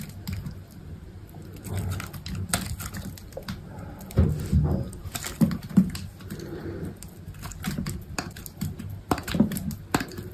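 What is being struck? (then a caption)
Soap bar shaved with a knife blade. A utility knife blade shaves thin curls off a solid, hand-sized cream soap bar. Soft, dull scraping strokes repeat in quick succession, with occasional sharper, louder clicks as the blade bites in. The sound is mostly low and muffled, with short bright ticks that die away quickly.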